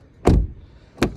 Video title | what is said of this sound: What I Hate About My New Subaru WRX | when you hear me shutting the doors, it sounds solid. It's not like super tinny or cheap.